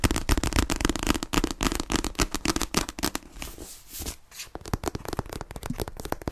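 A solid paperback copy of "Fragile Things" with a glossy paper cover is held in both hands and tapped and scratched fast on the cover with long nails. A rapid, dense stream of dry, crackling taps with a low thump is heard, breaking briefly in the middle into a softer, bright scratching hiss before the quick tapping resumes.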